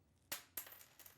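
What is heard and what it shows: A button from a lady's coat is dropped onto a floor to compare with a penny, giving a sharp, bright click, a second clack and a few small bouncing ticks that quickly die away. The button is judged the probable source of a noise heard earlier.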